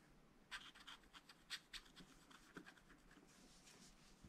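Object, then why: Wax-coated scratch-art paper sheet scratched with a wooden stylus. A wooden stylus scratches lines into the black wax-coated page of a spiral-bound scratch-art paper pad lying flat on a table. It makes a quiet, irregular series of short, bright, dry scratching strokes with little low end, spaced unevenly over a soft hiss.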